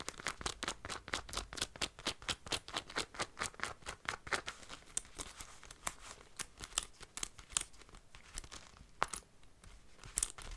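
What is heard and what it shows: Long light-blue nails scratch and tap along the cuff of a black leather (possibly faux) jacket sleeve and its gold metal zipper. A quick, slightly uneven run of dry, bright clicks and scratchy crinkles comes at about two per second, each dying instantly with no ring and little low end.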